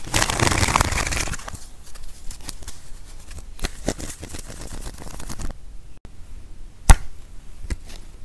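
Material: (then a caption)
Coated paper. A hand-sized deck of thin coated-paper playing cards with purple backs is cut and fanned into packets with the fingertips, then bent and riffle-shuffled between both hands with the card edges flicked. A dense, bright rush of riffling fills the first second and a half, then trails into scattered dry clicks and flicks with a soft low rumble underneath. One sharp, loud snap stands out near the end.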